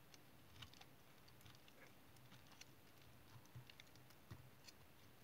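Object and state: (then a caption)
Bar of household soap being shaved. A small solid piece of brown household or tar soap is held in the fingers while a small metal knife blade shaves thin curls off its edge. The result is a quiet, steady scraping and cutting sound, with a soft low rustle under faint, bright ticks and crisp little clicks.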